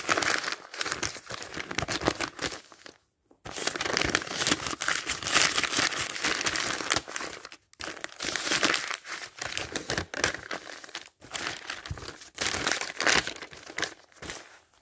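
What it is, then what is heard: Paper dictionary pages turned. Fingers wearing a ring flip and riffle through the thin printed paper pages of a thick dictionary with a solid block of pages. The paper gives a bright, dense rustling and crinkling that runs nearly continuously, with brief pauses between bursts of page turning.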